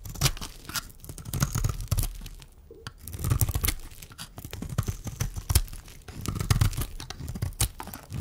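A metal blade scrapes and shaves curls off the surface of a solid, dry pink bar of soap held in the hand. The result is a dense run of crisp, crunchy scraping and tearing strokes with a heavy low-end thump, in bursts separated by brief quieter pauses.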